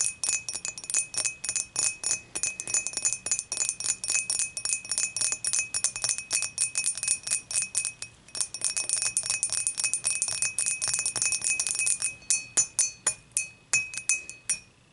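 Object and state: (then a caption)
Glass beer mug tapped with fingernails. Long matte fingernails on both hands tap the sides of an empty, upright, dimpled glass beer mug in close-up. The result is a rapid, uneven stream of bright, tinkling clinks with a short ring, including a faint steady tone near 2.6 kHz. The tapping pauses briefly around the eight-second mark and ends with a few louder, more spaced-out taps.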